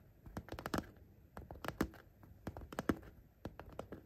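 Short painted nails tap rapidly along the top edge of a soft, hollow, patterned coated-fabric pencil case near its gold zipper. The taps come as quiet, dry, muffled clicks in quick uneven bursts, with no ring after each one.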